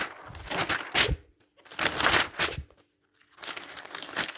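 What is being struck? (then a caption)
Thin glossy paper catalog. Fingertips turn and flip the pages of a thin glossy paper advertising catalog with rug and furniture pages, lying open on a table. Three bursts of bright crinkling and rustling paper are separated by short quiet gaps.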